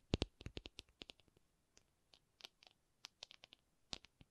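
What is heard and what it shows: A rubber object is tapped in an uneven, quick rhythm, about nineteen short, dry taps over four seconds. Each tap is a soft, quiet click with a bright edge and a low thud underneath, and dies away at once with no ring.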